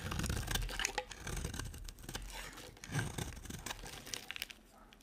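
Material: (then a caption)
Soap. A solid cream-coloured bar of dry soap held in the hand is shaved with a small metal blade held in the fingers, and curls fall onto a pile of shavings. Quick, irregular dry scraping and crisp cutting sounds come with bright, crackly transients and a soft low rumble. The rasps grow quieter toward the end, finishing with a few sharp, high clicks.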